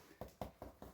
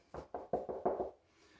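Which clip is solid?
The second.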